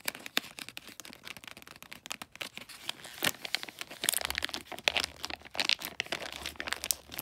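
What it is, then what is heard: Glossy wrapping paper on a small gift. Fingers and nails scratch and crinkle the glossy, light blue bulldog-print wrapping paper and its folds on a small flat gift. The result is a dense run of crisp, bright crackles and rapid ticks. A faint low hum enters partway through.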